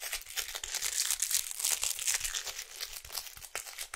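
A small, hollow printed cardboard box of fruit bars is held in the hands and tapped and scratched with long acrylic nails. The result is a steady stream of quick, dry, crinkly scratches and taps that are bright and high with almost no low end, each one dying away instantly.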